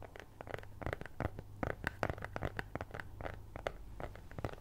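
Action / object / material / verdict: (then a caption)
scrape / flat kraft cardboard cutout / cardboard / none. A flat brown kraft cardboard cutout (possibly thin fibreboard) in the shape of a cat's head, held with both hands, is scratched with long nails. The result is a rapid, uneven series of short, dry scratching strokes with a papery mid-range rasp and brief high flicks, over a steady low hum.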